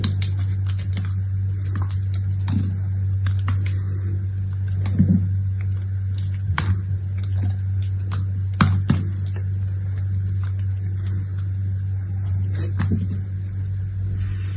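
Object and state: Bar soap being cut.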